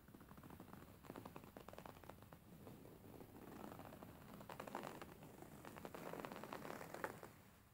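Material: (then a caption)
Linen. Fingernails tap and scratch across a beige embroidered linen pillow with stitched fabric. A dense run of soft, dry scratches and quick taps with a rustling texture sits mostly in the low-mid range, growing slightly louder toward the end before fading.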